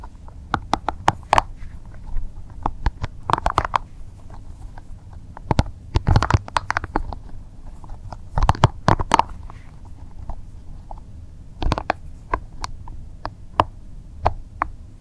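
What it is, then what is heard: Spiky rubber massage ball. A small, soft, translucent green rubber spiky massage ball is squeezed and rubbed between both hands. The result is a series of short, irregular squeaks, scratches and soft pops that cluster in bursts. Each has a bright edge, a midrange squeak near 900 Hz and a low rubbery body, with dull handling rustle between them.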